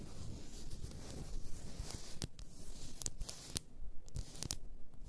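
A large glass bottle filled with pink bath salt is scratched across the top by long nails, giving a low, rough scraping texture. This is followed by several sharp, bright taps on its sides.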